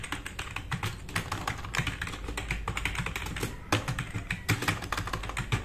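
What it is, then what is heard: Plastic mechanical keyboard. Fast typing with the fingertips of both hands on a black RGB-backlit tenkeyless plastic mechanical keyboard with plastic keycaps, resting on a wooden desk. A dense, rapid stream of sharp, bright clacks sits over a low thock, each keystroke dying away almost at once, with a few heavier strokes standing out from the steady patter.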